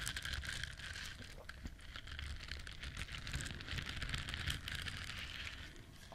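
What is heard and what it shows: Fingertips and long nails scratch and rub the bristles of a hand-sized yellow silicone duck-shaped bristle scrubber. The result is a steady, dense, crackling scratch with bright, hissy detail over a soft low rumble, rising and falling slightly across the clip.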